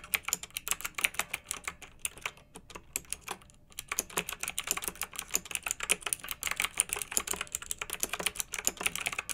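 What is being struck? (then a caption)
Plastic mechanical keyboard with round metal-rimmed keycaps. Fingertips with long nails type quickly on a pink backlit, typewriter-style plastic mechanical keyboard with round metal-rimmed keycaps. Each keystroke is a bright, sharp clack that dies away almost at once, with very little low end. The typing runs steadily throughout, with a brief lull around the middle.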